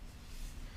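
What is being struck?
Nothing is struck.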